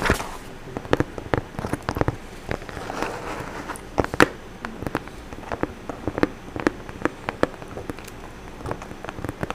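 Long orange acrylic nails tap and scratch the surface of a brown corrugated cardboard box sealed with clear packing tape, held close beside the microphone. Sharp, dry clicks come in an irregular patter, with a stretch of rough, hissy scratching early on. Each tap stops almost instantly with no ring.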